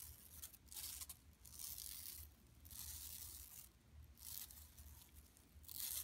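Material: Woven plastic.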